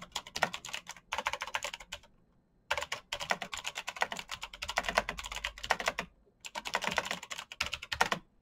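Fingertips type fast on a black backlit mechanical keyboard with plastic keycaps and clicky switches. Rapid, bright, sharp clacks come in three bursts separated by short pauses.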